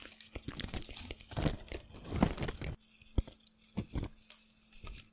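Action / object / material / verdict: scrape / thin paper scraps / paper / none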